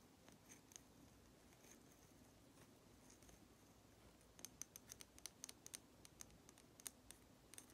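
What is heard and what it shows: A small, hollow, red lacquered wooden nesting doll, painted and held in one hand, is tapped and scratched with long nails. Faint, soft scratching and a few light ticks come first, then from about the midpoint a quick run of sharp, bright, dry clicks with almost no ring, over a quiet, steady background hiss.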